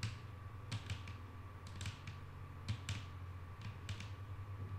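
A flat, solid wooden tabletop is tapped with the long painted nails of both hands, giving soft, sharp clicks in quick clusters that die away almost at once. The taps sit over a steady low hum and a faint constant mid-pitched tone, and stay quiet throughout.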